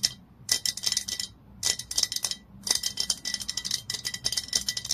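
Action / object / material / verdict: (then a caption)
tap / glass bottle / glass / none. Long nails tap and scratch the glass body and label of a glass olive oil bottle lying on its side. The sound comes in quick bursts of bright, clicky taps with short scratchy strokes and almost no ring. Brief pauses separate the bursts.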